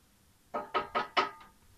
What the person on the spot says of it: Ça sonne, donc on voit que c'est cuit.